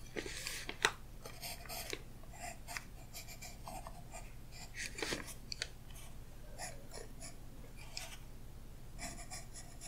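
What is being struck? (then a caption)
Graphite pencil on tracing paper over a book page. A graphite pencil (Royal Graphite 4B), held in the fingers, scratches and strokes across thin translucent tracing paper laid flat over an open hardcover art book's illustration page on a solid backing, while the other hand with orange nails holds the paper flat. Quiet, bright, scratchy lines come in short bursts of varying length over a steady low hum, with one sharper tick near the start.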